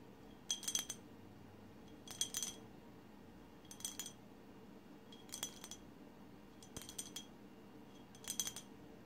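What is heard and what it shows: Long silver-white acrylic nails on both hands tap and scratch the sides of a tall, empty-looking glass bottle painted with blue, white and green swirls, standing on a woven placemat. Six short bursts of quick, bright clicking and clinking come at roughly even intervals, with a high glassy tone that dies away almost at once. Between bursts there is only a faint, steady low background hum.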